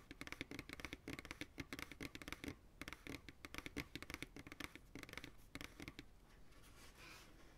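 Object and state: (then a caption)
Empty plastic pail. A medium white plastic ice cream pail, hollow and empty and held upright, is tapped quickly on its base with the fingertips. A rapid run of dry, hollow taps with a low body tone around 290 Hz and a bright click on top, each dying away almost at once. The tapping thins out and grows softer toward the end, leaving a quiet brushing sound.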